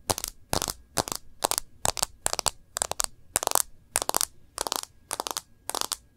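Long nails tap the edge of a rose-gold plastic case and the glass screen of a smartphone. Twelve evenly spaced bursts of rapid, crisp clicks sound bright and dry, with almost no low end and no ring after each tap.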